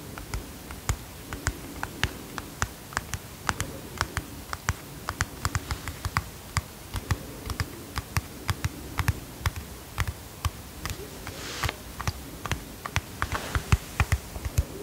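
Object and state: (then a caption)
Plastic pump bottle tapped with fingernails. A hollow white plastic pump bottle with a blue label is tapped with long fingernails in a steady run of about fifty quick, dry clicks. Each tap is short and sharp, with a bright tick over a soft, low hollow knock, above a faint low background. Brief brighter scratchy sweeps appear near the end.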